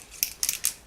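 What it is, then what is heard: Aerosol can with a rattling mixing ball. An aerosol can of Sephora Perfection Mist Airbrush Foundation is shaken before use, and the mixing ball inside rattles like a paint can. Four quick, bright metallic clicks are heard, sharp and high-pitched with almost no low end and no ring after each one.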